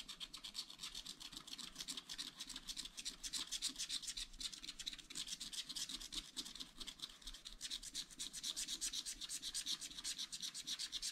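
A wooden stylus rapidly hatches strokes across the car area of a black-coated sheet on a scratch-art paper pad. It makes a quiet, dry, bright scratching hiss centered near 3.8 kHz, with almost no low end. The short rasping strokes repeat at about four per second in an uneven, continuous rhythm.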